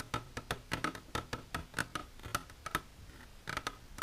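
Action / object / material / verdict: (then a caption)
tap / plastic container / plastic / none. Long natural nails with silver polish tap continuously on a plastic container, making nineteen quick, dry clicks at an uneven pace. Each tap has a brief hollow ring around 1.3 kHz over a soft low thud and dies away almost at once.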